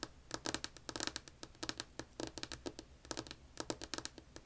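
Long acrylic-polished nails on both hands tap and scratch a solid, flat, light wood-grain tabletop beside a white earbud mic cable. A quick, irregular run of short, dry, bright clicks and scrapes sits over a faint low hum. Each tap stops almost instantly with no ring.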